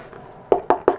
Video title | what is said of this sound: 1/4 Falcon and Red Wing kit sculpted by (Will Higgins) | it was rattling so I'm not sure this is full of foam or anything but it's it's hollow I can tell you